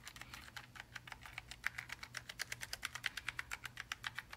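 A gloved index finger taps keys one by one on a black, low-profile Logitech G915 TKL linear mechanical gaming keyboard made of plastic and aluminium, lying flat. The result is a quiet, steady run of short, crisp clacks that are bright and dry, with almost no low end and no ring after each press.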